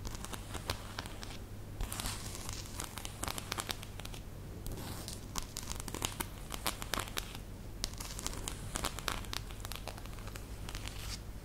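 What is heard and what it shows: A fanned-out deck of thin coated-cardboard game cards from "The Mind," held in one hand, is rubbed and flicked across its edges by fingertips with short painted nails. This makes rapid, bright crinkling and riffling sounds over a steady low hum.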